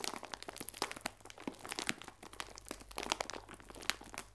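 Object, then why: Plastic film bag full of biscuits. A clear plastic film bag full of biscuits is held sideways and squeezed and crinkled, giving a quiet, continuous stream of bright, dry crackles and crunches. The sharp snaps die away instantly, over a faint, steady low hum.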